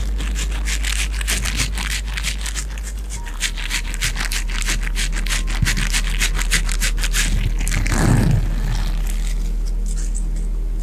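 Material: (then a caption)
Silicone. Fingertips and nails squeeze, scratch and rub a small, hollow pink silicone cup close to a Blue Yeti Pro microphone, with the cup briefly lifted toward the face midway. Rapid, fairly regular bright scratchy strokes repeat several times a second over a steady low hum. Near the end they swell into a louder, fuller rubbing burst before settling back to quieter, softer scraping.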